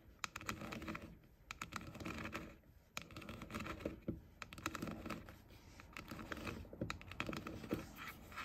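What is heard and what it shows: Short nails quickly tap and scratch the hollow pink plastic ear cups of JBL over-ear headphones. Rapid, crisp clicky taps mix with dry scratching in an uneven rhythm, with a hollow, boxy plastic tone and faint high hiss between strokes. Each tap dies away almost at once.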